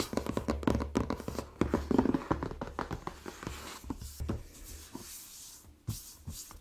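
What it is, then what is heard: Cardboard gift box. Fingertips and short nails tap and scratch the top of the lid of a closed, hollow, shoebox-sized pink rigid cardboard Glossybox beauty box, contents unseen, resting on a dark towel. Quick, irregular, dry taps with a hollow low thump fill the first few seconds. Then both hands lie flat and rub the lid, giving a softer, steady brushing hiss.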